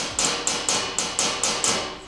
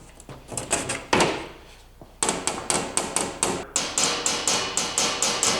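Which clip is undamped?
The first.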